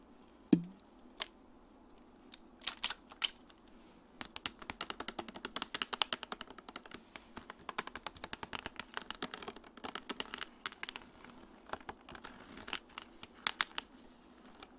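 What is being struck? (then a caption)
Plastic water bottle. Long dark nails tap and crinkle the sides of a medium clear plastic Dasani bottle with a green cap, hollow and partly filled with water. A few scattered taps open the clip, then from about four seconds a dense run of quick, dry, bright clicks follows, each dying away almost at once. The crackly tapping keeps going in irregular bursts to the end.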